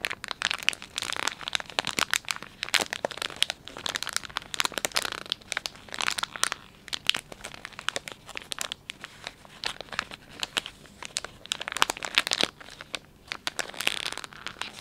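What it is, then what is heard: Plastic wet wipes package. Hands squeeze and crinkle a filled, palm-sized Dettol wet wipes package made of soft plastic film. A dense, bright crinkling runs throughout, packed with quick sharp crackles and crunches and almost no low end. The sound comes in uneven bursts of handling, with no pauses between them.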